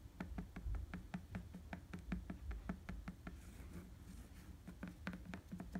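Fingertips tap and scratch on an inflated tan rubber bicycle tire with tread, making quick, irregular, dull low thuds with a short, dry decay. The tapping eases into softer scratching in the middle before picking back up.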